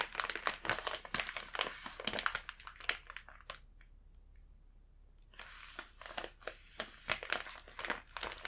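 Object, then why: Plastic snack bag. Fingertips hold and rub the back side of the same full plastic snack bag, producing dense, bright crinkling with sharp crackles. The crinkling pauses into near silence for about a second and a half midway, then resumes just as busily until the end.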